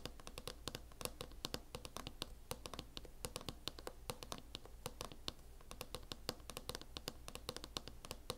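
Long acrylic nails scratch and tap on a closed laptop in a mint matte plastic hard-shell case, giving a quick run of sharp, bright clicks over a soft scratchy rasp. The taps are short and dry with almost no ring, above a steady low hum.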